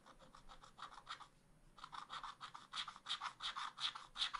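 A wooden stylus scratches ice cream shapes into the black wax-coated page of a spiral scratch art pad in continuous strokes while the other hand rests flat on the page. A fast, uneven run of dry, bright scratching rasps breaks briefly in the middle, then returns slightly louder.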